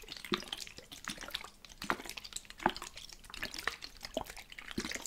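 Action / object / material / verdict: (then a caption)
shake / plastic spray bottle with liquid / plastic / none. A medium plastic spray bottle filled with teal liquid is shaken in one hand and moved from side to side across the microphone. Its contents slosh and drip in a steady stream of quick, wet plips and splashes.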